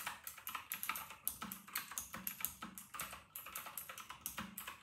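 Fingertips of both hands type fast on a full-size white RK960 mechanical keyboard with round retro plastic keycaps. The result is a dense stream of bright, clacky plastic keystrokes that die away almost instantly, with a few deeper, heavier presses.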